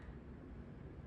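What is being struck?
Nothing is struck.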